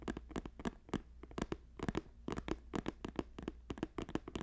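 Fingertips tap rapidly on a hollow green woven plastic basket while fingers scratch along its edges, producing about 25 short, dry clicks with soft scratchy rasps between them. The taps are quiet and dull with almost no ring, and a faint low hum runs steadily underneath.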